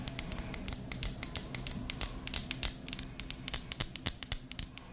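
Long pink acrylic nails tap rapidly on a hollow white "I Love You a Latte" ceramic candle tumbler held in hand, filled with wax, with the candle lit and the lid off. About 29 sharp, bright clicks with very short ring rise over a low, steady hum.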